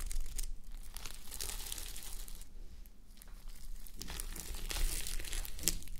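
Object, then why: Plastic flip-sequin fabric sleep mask. Fingertips and long nails rub and scratch a flip-sequin sleep mask, plastic sequins on fabric, worn on a mannequin head. The result is a steady, soft crinkling and scratching texture with bright ticking clicks over a low rumble. The sound thins out briefly midway, then grows busier and slightly louder toward the end.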